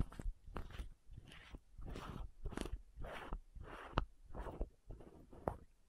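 Long nails tap and scratch the green and white screw caps of a small hollow plastic contact lens case and twist the lids. Quiet, close, dry clicks sit between soft rasping bursts of scratching and twisting, with almost no ring after each tap.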